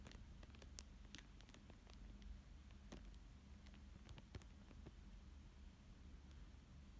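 A thin dark tool traces and scratches over a thin clear plastic sheet lying flat on a paper fish drawing. The sound is a quiet, steady low scraping rustle, broken by scattered sharp, bright ticks and soft crinkles.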